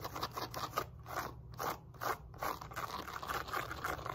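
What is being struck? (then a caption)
Woven fabric resistance band with rubber patch. Long nails scratch a black and pink woven elastic fabric glute resistance band resting on a lap, moving over both the woven fabric and its rubberized label patch. Quick, irregular dry scratching bursts center around 1 kHz with bright edges, over a faint steady low hum.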